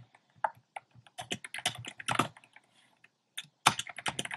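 A compact plastic mechanical keyboard with round pastel plastic keycaps in a dark frame is typed on with fingertips. Quick, bright, clacky keystrokes come in uneven bursts with short pauses between them, and each click is dry and short with almost no ring.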